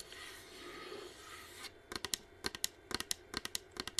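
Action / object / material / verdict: tap / plastic humidifier shell / plastic / none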